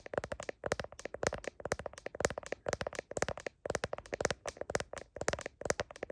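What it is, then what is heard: Smartphone in plastic case tapped with nails. Long nails tap rapidly on the back of a smartphone in a blue plastic heart case and across its camera lenses. Dense, bright clicking comes in quick bursts separated by brief pauses, each tap dry and short with almost no ring.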